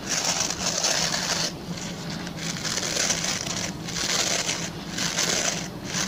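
Fingertips and short nails scratch and rub the stubby plastic pin bristles of a hand-sized oval white plastic brush. A dense, bright, crackly scratching rises and falls in several long swells, with a faint steady low hum underneath.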